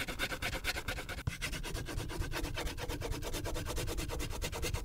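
A purple wax crayon rubs and scratches across the top area of a thin paper coloring sheet clipped to a clipboard, filling in the color. Quick, steady back-and-forth strokes make a continuous dry, scratchy rasp with a low rumble underneath, broken once by a brief sharp tick early on.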